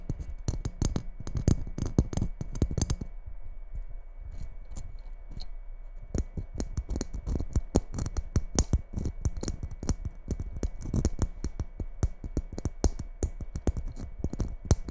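Fingertips and long nails tap and scratch the surface of a red glitter-coated Christmas ball ornament held close to a microphone. Dense, quick, dry clicks and rough scratches run throughout, with a sparser, quieter stretch in the middle before the fast tapping resumes.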